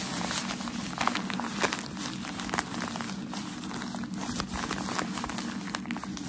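Crumpled white tissue packaging paper from a shoe box is held in both hands while fingertips and nails quickly scratch and tap it. The result is a continuous, dense, bright crinkling texture, punctuated by sharp little crackling clicks that stand out briefly above a steady rustle.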